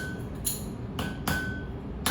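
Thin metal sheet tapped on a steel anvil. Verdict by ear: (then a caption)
Flat. A metal sheet on a steel anvil is tapped four times after the air gap beneath it has been hammered out. Each tap gives a short, dull knock that dies quickly, with a faint high ring near 1.5 kHz. The dead sound shows the sheet is now lying flat on the anvil.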